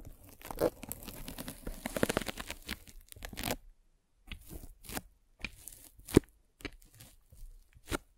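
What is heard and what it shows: A derma roller with metal spikes, held by long nails, is rolled across a white polyethylene foam net sleeve fitted over a microphone. It makes crunchy, crackling scratches and tearing-like crinkles. A dense run of scraping in the first three and a half seconds breaks into short separate bursts after a brief pause.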